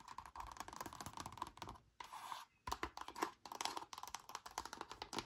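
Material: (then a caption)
Plastic. Long nails and fingertips rapidly tap and scratch an empty frosted, flexible plastic reusable leakproof zip bag with a cardboard header card, lying flat. The result is a dense run of crisp, clicky ticks centered around 1 kHz with bright edges, broken by a smoother scratching stretch and a brief pause just after the two-second mark.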